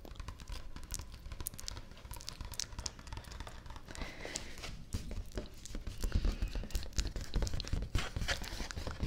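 Fingertips and nails rub and tap the surface of a large, thin sheet of stiff white cardstock, a printed affirmations poster held upright in one hand with its back side facing out. Dry, crinkly scratching mixes with quick, soft taps and bright flicks over a low rumble, and the taps grow louder and denser toward the end.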